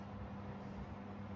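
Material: Nothing is struck.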